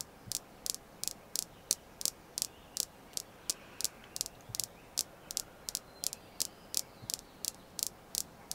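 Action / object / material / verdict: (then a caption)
tap / red jasper stone / jasper / none. A red jasper crystal stone is tapped steadily, giving 25 short, bright clicks at a loose, slightly uneven pace over about eight and a half seconds. Each tap is crisp and dies away at once, with no ringing, over a faint steady hiss.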